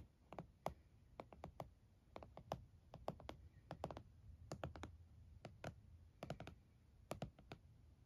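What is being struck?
Laptop in a plastic hard-shell case.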